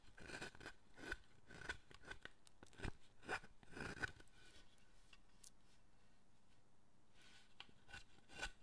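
A wooden-handled steel chisel pares and carves the surface of a solid, light-coloured wooden figure of a Buddhist guardian held in one hand, with shavings on the bench. Short, crisp scraping cuts come in quick bursts, each carrying a faint ringing tone near 1.5 kHz over a low thud. A quieter stretch of light rasping follows before a few more sharp strokes at the end.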